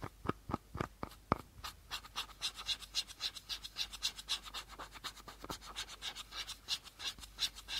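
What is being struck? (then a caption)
Plastic bottle cap. Fingernails scratch across the teal plastic cap of a small, empty plastic bottle. A few sharp clicks open the clip, then it settles into a steady run of quick, bright, raspy scratching strokes with a brief hollow plastic tone.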